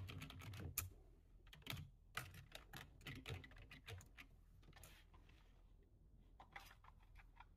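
Both hands type quickly with their fingertips on a low-profile plastic computer keyboard. Rapid, crisp key clicks with bright tops and a soft low thud come in dense bursts, then thin out into lighter, quieter taps toward the end.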